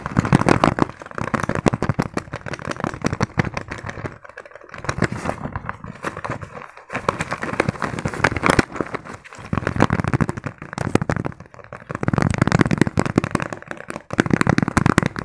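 Fingertips rapidly tap and scratch a small, padded green fabric pencil case with a zipper. The result is a dense, continuous stream of dull, crinkly taps and scratchy rustles, heavy in the low end, with brief pauses before the fast tapping resumes.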